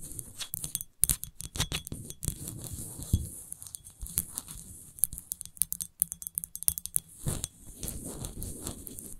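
Long acrylic nails quickly tap and scratch a large, empty, hollow clear glass wine bottle shaped like a rose, with a paper label, working over its glass body and textured base. Dense, sharp clicks and bright glassy chinks mix with rough scratching rasps, and each tap dies away almost at once. A soft low rumble runs underneath.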